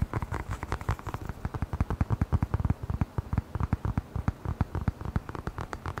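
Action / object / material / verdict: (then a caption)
tap / hollow rubber air blower bulb / rubber / none. A hand-sized, hollow black rubber air blower bulb is held near the microphone and tapped quickly with the fingertips. It makes a fast, uneven stream of short, dull, low thumps with almost no ring, each dying away at once.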